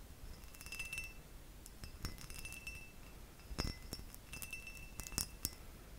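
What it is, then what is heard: Glass object. A glass object is tapped with the fingers, giving a quiet series of light clinks and taps spread across the clip. Each tap is brief, with a bright, high ringing tone that fades quickly over a low, steady background hiss.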